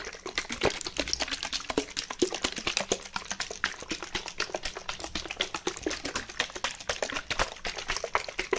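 A white plastic bottle, partly filled with water, is shaken quickly in one hand. It makes a fast, steady stream of short, bright sloshing clicks and taps with almost no ring. The sound holds an even, rapid rhythm for the whole clip.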